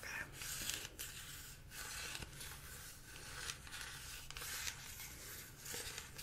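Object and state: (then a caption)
Plastic pump bottle. A tall clear plastic pump bottle of body-care product, filled with liquid and with a blue label and orange pump, is held close and tapped and scratched with long acrylic nails. The result is a continuous bright, hissy scratching texture, strongest above 2 kHz, with short tapping accents and brief quiet breaks throughout.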